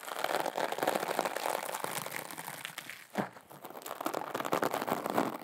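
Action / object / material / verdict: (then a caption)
scrape / small sequin fabric pouch / sequin fabric / none. A small, flat teal glitter or sequin fabric pouch, soft and empty-looking, is held close to the mic and scratched and rubbed with long acrylic nails. The result is a dense, irregular crinkling and scratchy rustle that stays mostly in the mid and high range with little low end. There is a brief quieter dip near the middle before the rubbing picks back up.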